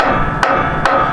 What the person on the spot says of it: when you tap on a frozen brake it's going to have a dull sound to it like that and most likely it's frozen on the bottom